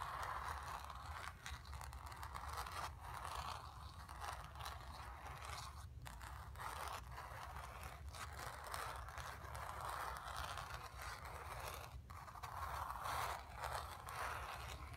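Long nails scratch the surface of a painted stretched canvas, making a continuous run of soft, dry scraping strokes. The strokes swell and fade in a raspy band around 1 kHz, with brief quiet gaps between some of them. A steady low rumble sits underneath throughout.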